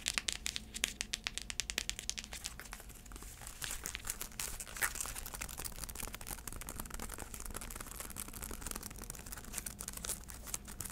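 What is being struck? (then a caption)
Braided faux-leather sandal strap. Long acrylic nails scratch the braided black straps of a black braided faux-leather heeled sandal held up close. The result is a dense run of bright, dry scratching, crackling and quick clicks over a faint low hum, with no ring after each stroke.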